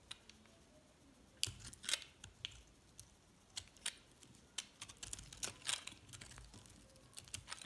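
A metal blade carves into a yellow and white recycled soap bar and scrapes off chunks. The result is a quiet series of crisp, bright scraping and crunching clicks at irregular intervals, each dying away almost instantly, with a few louder bursts between softer scrapes.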